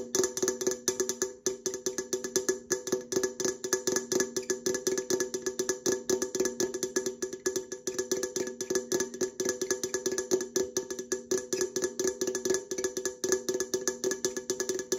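Long nails tap rapidly and steadily on the side and top rim of an opened red Coca-Cola aluminum can held sideways, its hollow thin metal answering each strike. The result is a dense stream of quick, dry, woodblock-like clicks with a short hollow ring near 375 Hz and bright metallic overtones, with almost no low end.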